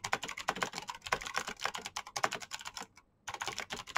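Fingertips type rapidly on the keycaps of a black plastic mechanical keyboard with clicky green switches. Dense, sharp, bright clicks run in quick bursts with almost no low end. A brief silent pause near the three-second mark breaks the flow before the typing resumes.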